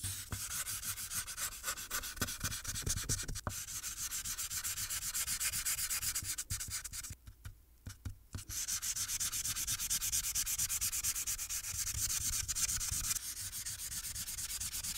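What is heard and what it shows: A felt marker tip is rubbed steadily across the top area of a thin paper coloring sheet resting on a clipboard. The result is a continuous, bright scratchy rubbing with fast repeated strokes and a brief pause near the middle before it resumes.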